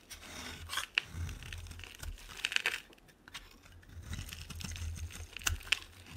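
A solid white bar of soap, held in the hand, is shaved with a utility knife blade into fine dry flakes. The blade makes crisp, bright scraping and tearing strokes, with a few sharper clicks where it catches, over a faint low hum.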